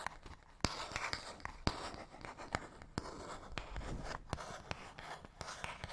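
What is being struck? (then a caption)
Small paperboard box. A fingernail scratches along the surface of a small, hollow, printed paperboard box, making a quiet, dry, continuous rasping noise. Sharp, bright ticks punctuate it where the nail catches, and the sound dies away almost immediately with no ring.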